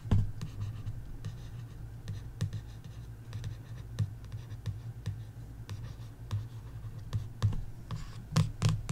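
A long nail traces and scratches over the printed text on the glossy card back cover of a paperback coloring book. Soft, steady scratching is punctuated by brief sharp clicks and bright ticks over a low, dull rumble.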